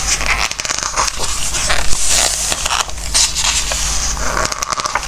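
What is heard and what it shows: Hands hold an open glossy-paper Christmas craft book on a wooden table while fingertips rub across the pages and turn them. Bright, crackly paper rustling and scraping is heard in quick bursts over a steady low hum.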